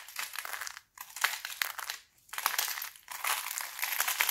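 Thin, brittle green sheets of dried laundry soap are crushed in both fists into crunchy flakes, with broken soap flakes piled on the table. Four bursts of dense, bright crackling and crunching, with no low end, are separated by brief near-silent pauses.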